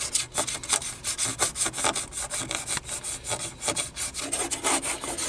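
Fingers tap and scratch over the buttons of a black plastic car stereo control panel. A steady run of quick, dry clicks mixes with bright, hissy scraping that sits mostly in the high frequencies, with almost no low end and no ring after each tap.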